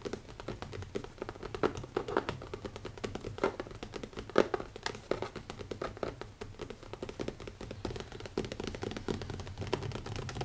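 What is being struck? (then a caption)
Leather notebook cover. Fast, dense tapping on a leather notebook cover makes a steady run of short, dull taps with a low, woody tone, with occasional louder taps standing out. There is no speech.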